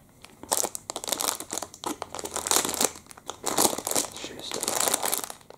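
Fingertips pinch, crumple and crinkle the thin film of a clear plastic chocolate-muffin packet with the muffin still inside, held up in both hands. Dense, bright crackling bursts rise and fall in quick overlapping waves, with almost no low end.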